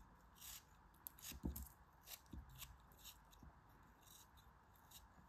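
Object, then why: Kinetic sand chunk. A craft knife blade repeatedly scrapes and cuts through a small solid lump of grey kinetic sand held in the fingers, and sand crumbles fall away. The result is a quiet, grainy scraping cut with soft, bright crackles and a few short, dull low thuds between the strokes.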